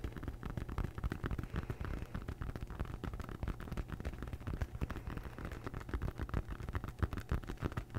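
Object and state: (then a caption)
Foam yoga mat. Long nails scratch and tap on a large rolled-up red textured foam yoga mat held upright beside the mic. The result is a dense, continuous stream of soft, muffled thumps and scratchy rustling, heavy in low rumble with very little brightness. Each tap dies away almost instantly.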